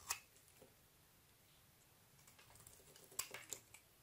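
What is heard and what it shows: A palm-sized solid white bar of soap is held in one hand while a metal utility knife blade shaves and carves its edges, dropping curls of soap onto a grey surface. Quiet, crisp, bright scraping snicks come as short separate strokes: one sharp cut at the start, softer scratching in the middle, then a cluster of quick cuts near the end.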